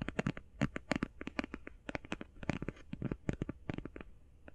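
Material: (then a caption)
Cardboard. Long painted fingernails tap quickly on the face and edges of a closed, flat, rectangular, hand-sized cardboard eyeshadow palette. The result is a rapid, uneven run of short, dry, papery taps with a soft low thump under each one and almost no ring.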